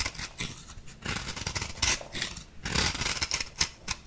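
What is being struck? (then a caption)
Compressed powder bath bomb. A small metal blade scrapes the surface of an orange-pink compressed powder bath bomb ball held in hand. The result is a series of bright, dry, crumbly scraping strokes with a gritty, high-pitched hiss and little low end, each stroke cutting off quickly.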